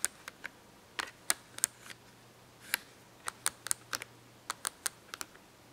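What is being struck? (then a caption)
Cardboard marker box. Long acrylic nails tap and scratch a cardboard marker box held open with markers inside. About seventeen short, sharp, bright clicks and taps come at an uneven pace over quiet background noise, each dying away almost instantly.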